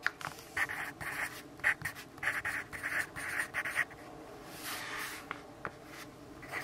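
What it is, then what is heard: Pencil writing on notebook paper. A yellow wooden pencil with a graphite tip scratches handwriting onto the page of an open lined paper notebook while the other hand holds the page flat. A quick series of dry, bright scratching strokes comes in short bursts. These give way to a softer, steadier scrape with a few sharp ticks near the end.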